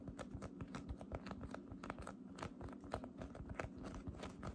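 A palm-sized, soft, light-blue fluffy cotton candy cloud slime blob is gripped, stretched and pressed by fingertips with long dark red painted nails, which also poke into its surface. The result is a quiet, steady stream of short, dense crackling clicks and soft pops over a low, muffled rumble.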